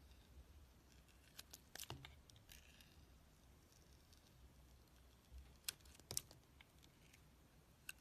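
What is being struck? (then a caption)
Bar of soap shaved by a steel blade. A steel utility-knife blade shaves thin curls off a solid, palm-sized oval bar of soap with a green outer layer and a black core, held in the hand. Quiet, bright scraping and carving sounds come as short, crisp, ticking bursts, grouped early and again near the end, over a faint low rumble.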